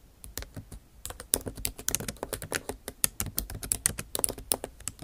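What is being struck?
Plastic laptop keys in a metal body.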